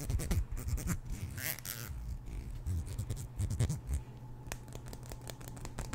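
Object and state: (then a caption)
Plastic comb strummed. A small, solid black plastic comb is held close to the microphone while fingertips and nails run along its teeth. The result is a series of scratchy, strumming rasps and sharp bright clicks over a low, dense rumble, with some louder bursts near the start and in the middle.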